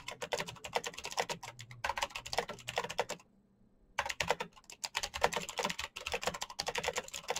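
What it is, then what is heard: Plastic mechanical keyboard. Fingertips type fast on a full-size black plastic Razer mechanical keyboard with clicky green switches and RGB backlight. Dense bursts of sharp, bright clicks with short, dry decay run continuously, pausing briefly near the middle before resuming at the same rapid pace.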